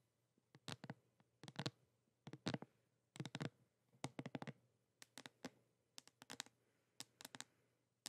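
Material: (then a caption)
Cardboard. A flat, thin, hollow pink printed cardboard box or palette is tilted in the hands and tapped with long nails. The result is quick, dry clicking taps in irregular bursts and clusters, each with a sharp bright attack, a papery hollow body and almost no ring, over quiet background hiss.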